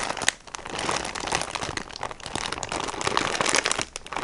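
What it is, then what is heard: Plastic-wrapped sponge pack. A hand-sized, blue-and-green printed plastic package of soft kitchen sponges is squeezed and scratched close up by fingertips with medium painted nails. The plastic makes a dense, bright crinkling and crackling that rises and falls without stopping, with almost no low end.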